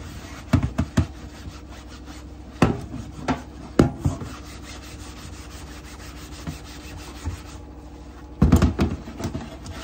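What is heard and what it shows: Gloved hands lift a flat, solid, translucent plastic cutting board in a sink and scrub it with a sponge, with knives resting untouched nearby. A steady, low, muffled rubbing runs throughout, broken by short hollow knocks and clatters in scattered bursts, with a busier cluster near the end.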